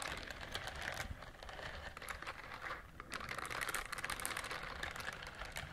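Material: Silicone.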